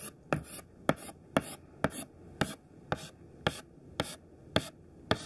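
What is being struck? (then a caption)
Thin chalk stick on a chalkboard. Thin white classroom chalk, held in the hand, makes rows of quick tapping dash strokes on a black chalkboard. Ten sharp taps are heard at a fairly steady pace, each with a short, bright, scratchy drag.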